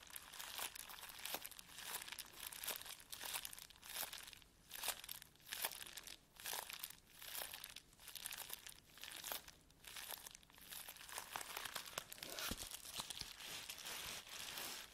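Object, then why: Plastic bubble wrap sheet. A plastic bubble wrap sheet is rubbed with flat fingertips on a table, then lifted and crinkled in one hand. The result is a steady run of bright, dry crinkling and rustling in uneven bursts, with sharp crackles and short quiet gaps, mostly high in tone with almost no low end.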